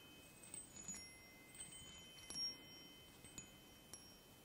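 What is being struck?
Aluminium chime tubes on a wooden block.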